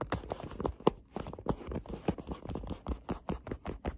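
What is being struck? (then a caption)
Small cardboard box. Fingertips and nails tap and scratch the faces and edges of a small, hollow, printed cardboard tea box (Murchies Pomegranate Rooibos) held in the hands. The sound is a quick, irregular run of dull, hollow taps mixed with soft papery scratching. It is muffled and mostly low to mid in tone, with almost no bright content, and each tap dies away instantly.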